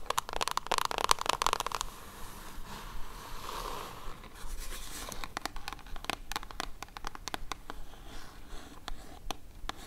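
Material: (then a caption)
Cardboard. Long acrylic nails tap and scratch the top of a small, hollow brown kraft cardboard mailer box with a Zinff logo, lying on faux fur with its contents not visible. The first two seconds bring a dense, brighter burst of scratching. Softer scraping follows, then a run of sharp, irregular, dry taps with almost no ring.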